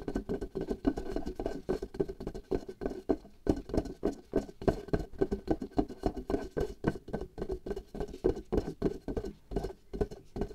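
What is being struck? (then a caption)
Latex membrane stretched over a small glass jar. Long nails and fingertips rapidly tap a latex glove membrane stretched taut over the opening of a small hollow glass jar held in one hand. The result is a quick, uneven patter of soft, hollow, drum-like thuds with a low-mid tone. Each tap dies away almost at once.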